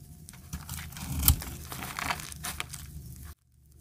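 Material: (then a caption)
Soap. A solid, hand-sized, tan bar of dry soap, held in a hand with long red nails, is scraped and carved by a utility knife blade into crumbly flakes. The sound is a dry, crunchy scraping and crackling with a low, thumpy body and bright gritty edges, swelling to a sharp crunch around 1.3 seconds. It continues in rough bursts before cutting off abruptly near 3.3 seconds.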